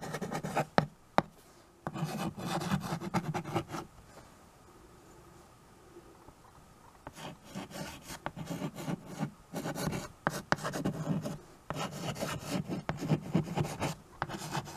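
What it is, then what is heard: Chalk writing on a wood-framed chalkboard. A white chalk stick held in the fingertips writes and scratches over a small, solid, flat wood-framed chalkboard. Dry, gritty rasping strokes come in bursts, with a couple of sharp taps near the start and a quiet pause in the middle. The strokes are mostly low and midrange, with little high hiss.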